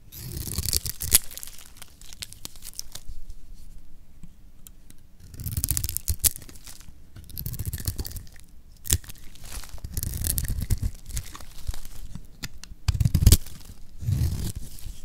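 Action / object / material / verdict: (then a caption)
scrape / bar of soap scraped with a metal blade / soap / none. A metal blade scrapes and shaves the surface of a solid green bar of dry lacquered soap held in the hand. Repeated bursts of dry, crunchy scraping and tearing sound, with a bright crisp edge over a heavy low rumble, come in uneven waves with quieter pauses between them.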